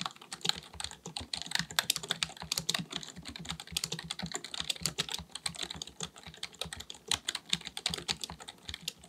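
A black full-size plastic computer keyboard on a desk is typed on with the fingertips of both hands. Rapid, steady streams of short, bright key taps click with little low end and almost no ring, running continuously through the clip.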